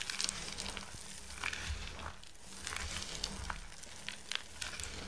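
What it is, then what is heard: Dry soap shavings being crushed. A heap of dry, crumbled, multicoloured soap shavings is squeezed and crushed into a mound by bare hands and fingertips, then scooped up in cupped hands. The clip is full of dense, bright crinkling and crackling crunches over a low steady hum.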